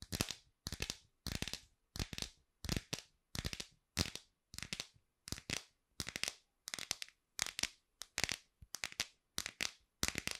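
Long pink acrylic nails tap and scratch the back of a hand-sized iPhone in a clear plastic case with glitter, held beside the microphone. Quick bursts of bright, dry clicks and scratchy ticks repeat with short silent gaps, each dying away almost instantly.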